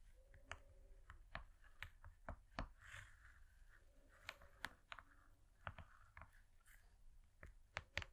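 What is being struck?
Foil-laminated cardboard board.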